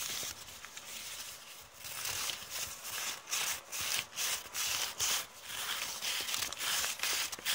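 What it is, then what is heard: Crumpled kraft paper bag. Long painted nails rub and scratch a crumpled, thin brown kraft paper bag with a serrated edge, held in the hand. The result is a bright, dry crinkling and rustling with almost no low end. It starts as a steady soft rub, then turns into a run of quick scratching strokes that swell and fade, growing louder in the second half.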